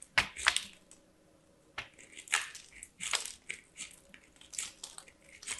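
A small white bar of solid soap is rubbed against a small handheld stainless steel box grater by hands with long black nails, and the shavings fall onto a pile of dyed soap. The result is a series of short, bright, crunchy rasps separated by brief quiet gaps, with little low end.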